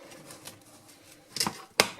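Homemade dog kibble made with beans, carrots and beef, baked at 80 degrees for about 25 to 30 minutes, is handled and knocked together. Sharp, bright clicks and cracks stand out over a faint background hiss, with a cluster of clicks near the middle and a louder crack near the end. The pieces are baked through and very hard.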